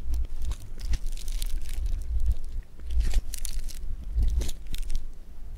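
Fingers stretch blue foam bead clay (floam) apart, then press their fingertips into it on a table. A steady run of small crisp crackles, pops and squishes comes from the beads, bright and sizzling over a low rumble, with short, dry snaps that die away almost instantly.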